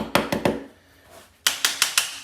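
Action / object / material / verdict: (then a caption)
tap / ceramic shower floor tile / ceramic / loose. Seven sharp taps on the ceramic tiles of a small shower floor during a repair: three quick bright clicks, a pause, then four more in a row. Each tap gives a crisp, high, hollow-sounding knock that dies away almost at once, marking a loose tile.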